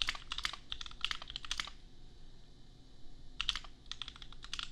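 A custom 60% mechanical keyboard with Gateron Milky Yellow switches and red and white plastic keycaps, resting on an anime desk mat, is typed on with the bare fingertips of both hands. Quick, bright plastic clacks come in a steady run, stop for about a second and a half, then resume. Each keystroke dies away almost instantly over a soft low background hum.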